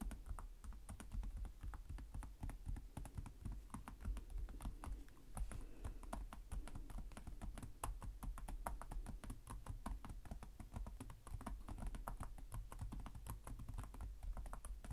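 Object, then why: Plastic laptop keyboard. Both hands type rapidly with their fingertips on the plastic chiclet keys of a black laptop with a hollow chassis. The result is a steady, quiet stream of quick, short clicks with a hollow, low thump under each tap.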